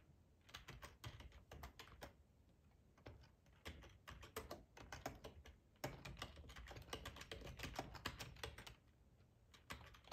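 Fingertips of both hands type on a hollow, black plastic split ergonomic keyboard, tapping the keycaps. Quick, clicky taps with a low, hollow thump come in bursts separated by brief pauses, each tap dying away almost at once.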